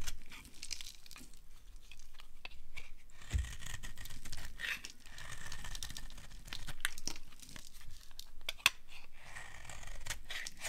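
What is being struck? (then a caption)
Bar of soap. A metal blade shaves and carves a solid white, branded bar of dry soap held in the hand. Continuous dry scraping and crisp tearing, crinkling crunches fill the clip, broken by many short, sharp cuts and one louder snap near the end.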